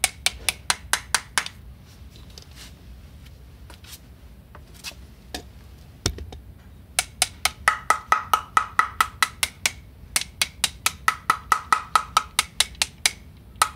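A small plastic/rubber-headed mallet on a metal shaft is tapped across a grey cement mortar floor screed that may be delaminated and hollow in places. Quick runs of sharp, dry taps are heard, with a stretch of fainter taps in the middle. Later runs carry a brief bright ring around 1.3 kHz, suggesting hollow spots beneath the screed.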